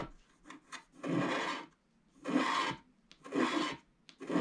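A wooden stylus scratches off the solid black background of a black wax-coated scratch art card lying flat, working along its left edge. The result is dry, rasping scrapes in long strokes, about one per second, with short faint scratches between them. The rasp is mid-pitched and dense, with a bright edge.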